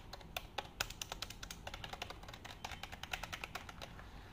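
Nails and fingertips tap and type on the keys of a black plastic computer keyboard held in front of the face. A quick, uneven run of dry, bright plastic clicks follows, each dying away almost at once over a quiet, low background rumble.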